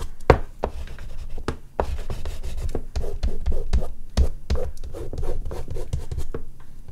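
An oil pastel stick is rubbed across a large flat sheet of artist's paper resting on a board, with a hand on the drawing throughout. Quick scratchy strokes come in bursts, each with a soft low thump and a dry rasp that stops almost at once.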